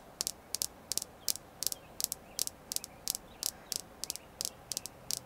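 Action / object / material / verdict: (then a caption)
tap / red jasper stone / jasper / none. A red jasper crystal stone is tapped continuously in a quiet setting, producing a steady series of short, sharp, bright clicks, some arriving in quick pairs. Each tap is crisp and dies away almost instantly, with nearly all its energy high in the treble and almost no low end.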